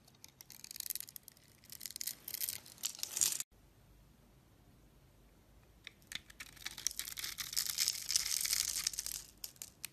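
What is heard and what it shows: A box-cutter blade shaves a hand-held lilac soap bar, pre-scored into a grid, into small cubes, making bright, crisp scraping and crackling cuts in dense, irregular bursts. The cutting stops abruptly for a couple of seconds of faint hiss, then resumes more steadily and grows fuller toward the end.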